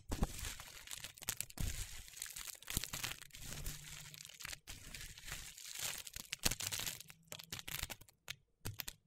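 A fingertip pokes into a heap of thin, brittle, pastel dried soap shavings and crushes the curls. It makes dense, dry crackling and crunching in quick, uneven bursts with bright crisp detail and a soft low rumble underneath, broken by brief pauses.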